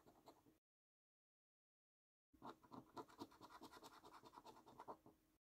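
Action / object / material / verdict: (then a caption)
scrape / paper scratch card with scratch-off coating / paper / none. A coin scrapes the scratch-off coating of a thin, flat paper National Lottery £15 Luxury Lines scratch card in short strokes. A brief burst of dry scratching stops for a silent gap, then a steadier run of quick, rasping strokes follows for about three seconds.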